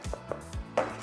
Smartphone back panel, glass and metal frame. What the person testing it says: มันจะแน่นแล้วมันจะแข็งไงแน่นตับเลย